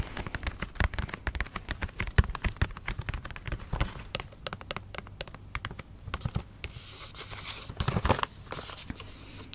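Fingernails scratch and tap on a Bubble T bath macarons cardboard gift box with a plastic window. A dense run of dry, quick clicks and taps with scratchy strokes between them sits mostly in the low range, then turns into a longer bright, hissy scraping and crinkling toward the end.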